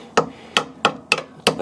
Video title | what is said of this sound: Porsche 911 996 C4S Part 2 - A Shocking discovery! | just tapping it and it's actually gone through there it's rotten